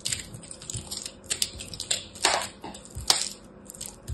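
A solid ball of pressed teal and orange soap chips, held in the hand, is scraped and cut with a small black blade. Dry, crumbly crunches and gritty scrapes come in irregular bursts, mostly high and bright with very little low end. Each crunch stops almost at once with no ring.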